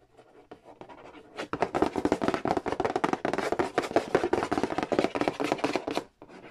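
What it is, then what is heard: Cardboard board game box. Fingernails trace and tap across the glossy printed cardboard lid and side edge of a large, flat, hollow Monopoly Nintendo edition board game box. Soft, light scratching gives way to a fast, dense run of hollow, papery taps and scrapes with a low-mid body. It then drops back to quiet tracing at the end.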